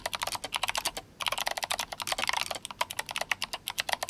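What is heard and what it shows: Fingertips of both hands type fast on a GMMK Compact RGB-backlit mechanical keyboard with clicky Kailh Box White switches and plastic SA keycaps. A rapid stream of sharp, bright clicks and clacks is heard, with a brief pause near the one-second mark before the typing resumes.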